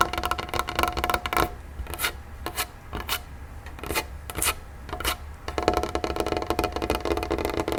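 Fingertips tap rapidly on a wooden tray table, producing dry, short-ringing knocks with a woody tone around 720 Hz. Dense, fast bursts of tapping open and close the clip, with sparser, sharper individual taps in between.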